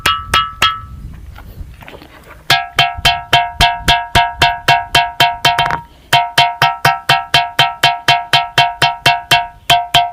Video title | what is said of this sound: घंटा नाद दगड - वाजणारे दगड - ringing stone. | या दगडांमध्ये घंटेच्या नादासारखा आपल्याला या ठिकाणी आवाज येतोय घंटेचा जसा निनाद होतो तसा निनाद या ठिकाणी आपल्याला ऐकायला येतो